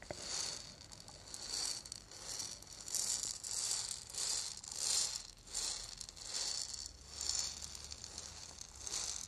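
A small, hollow, lacquered and painted wooden ball rattle is held in one hand and shaken. It gives a bright, high rattling hiss in repeated swells, roughly every second and a half, with little low end.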